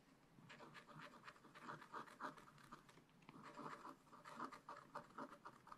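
A wooden stylus scratches dots and lines into a black-coated scratch-art page, a flat sheet in a spiral-bound book, picking out a giraffe. Quiet, dry scratching strokes and short taps come in a quick, irregular rhythm, with a papery rasp centred in the mids and little low end.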